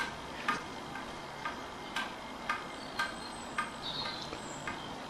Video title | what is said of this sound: A Look At The Sigma 30mm f2.8 EX DN Lens For Micro Four Thirds Cameras | if you shake this lens it rattles it's not a fault it's normal put it on the camera and switch on and it won't rattle anymore